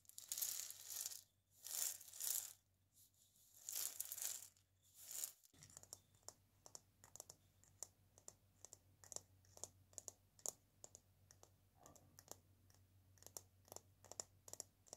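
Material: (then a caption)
Dried gourd. A single hand-sized hollow maraca made of a dried gourd with a carved pattern and a wooden handle is held in the hands while long dark-painted nails tap and scratch its surface. The first few seconds bring soft, swelling bright scratching rustles. Then come many quick, dry, crisp taps with very short ring, all thin and high with almost no low end.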